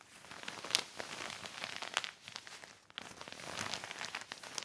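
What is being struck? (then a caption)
Heavy plastic sheet. A black heavy plastic sheet lying on a blanket is rubbed by hand with a yellow cloth. It makes a steady, bright crinkling and rustling with almost no low end. Sharper crackles stand out near 0.75 and 2 seconds, with a brief lull just before 3 seconds.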